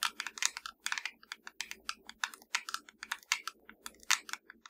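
Long dark nails of both hands tap and scratch a small, hollow black plastic fireplace remote control lying flat. A quick, uneven stream of sharp, bright clicks and brief scratchy strokes comes through, each dying out almost instantly with nothing in the low end. The result is a dry, clicky patter much like fast typing on a keyboard.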